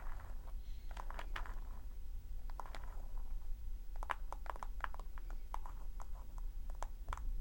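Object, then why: Handmade paper notebook with dried-leaf cover. Long acrylic nails tap and scratch the dried-leaf hard cover of a small closed handmade paper notebook with a cloth-wrapped spine and twine, lying flat on a dark table. Quick, dry clicks and crackly scrapes repeat over a steady low rumble. The clicks are sharp, with short bright tips.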